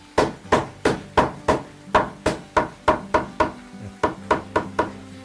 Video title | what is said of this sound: Korean Heritage: The Art of Hanok Window-Making by Master Sim Yong-sik | これが打ち込まれると中に当たったという合図が来ます